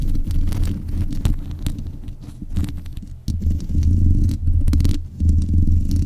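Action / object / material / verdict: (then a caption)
scrape / metal mesh microphone grille / metal mesh / none. Long nails scratch and tap the hollow mesh grille of a black metal desk microphone. The result is a dense, muffled rumble that sits almost entirely in the low end, with close scratching textures and intermittent brief, sharp taps. There are a few short drops in level along the way.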